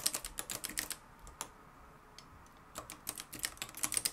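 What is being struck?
Plastic-cased manual typewriter with metal mechanism.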